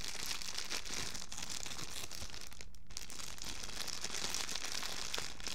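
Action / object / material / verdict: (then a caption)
scrape / thin clear plastic bag / plastic / none. Fingertips crumple and crinkle a thin, clear, empty plastic bag about the size of a hand, with a dark strip running along it, held up close. A steady, bright, crackly rustle continues throughout, easing briefly near the middle, over a low background hum.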